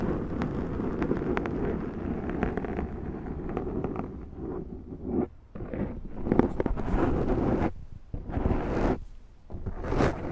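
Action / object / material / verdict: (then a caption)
scrape / foam microphone windscreen / foam / none. Long nails scratch along the sides and top of a large round black foam windscreen on a Zoom microphone. The result is a deep, muffled, rumbling scrape, dense in the low end, that runs almost continuously with brief quiet drops in between. Faint brighter crackles flicker over the rumble.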